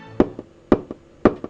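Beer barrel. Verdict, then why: Empty. An empty beer barrel is knocked to tell by its sound whether it is full or empty. Six short, hollow knocks come in three pairs, each a strong hit followed by a softer one, with a mid-pitched tone around 360 Hz and almost no ring. The hollow sound marks the barrel as empty.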